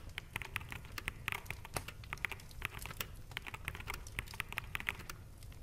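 Fingertips of both hands type fast on a full-size black plastic mechanical gaming keyboard with hollow keycaps resting on a desk. It makes a quick, irregular stream of short, bright clacks centered around 2 kHz that stop almost instantly, over a steady low background hum.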